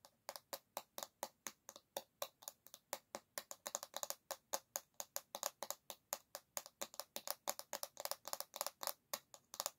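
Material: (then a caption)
Bamboo. Long nails tap rapidly on the solid bamboo back of an oval hairbrush, making around fifty short, dry, clicky taps over about ten seconds. Each tap is crisp and bright, with no low end and almost no ring.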